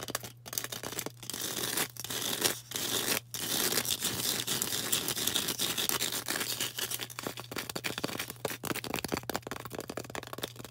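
A solid green floral foam brick, held in both hands, is tapped and scratched on its sides with long orange nails. The result is a dense run of dry, crackly scratching and tapping, mostly bright and high-pitched, broken by a few short pauses over a faint steady low hum.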